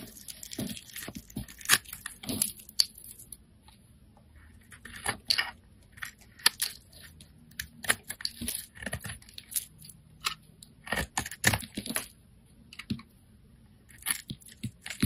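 A blade carves and scrapes thin strips from the surface of a solid pink oval bar of soap held in the hand. Short, crisp, bright scraping and crunching strokes come in irregular bursts with brief quiet pauses between them. Each stroke has a dry, papery tearing quality.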